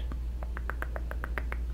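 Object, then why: Beaded purse. A chopstick is run across a gold purse made of bead-type pieces, giving a rapid, even series of bright little clicks as it passes over the beads. A steady low hum sits underneath throughout.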